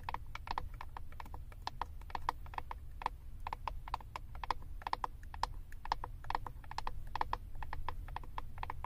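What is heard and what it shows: Long acrylic nails tap and scratch the back of a flat plastic eyeshadow compact with a glossy label. Rapid, dry, clicky taps, each with a short bright tone near 950 Hz that dies away almost at once, sound over a steady low rumble and light scratching.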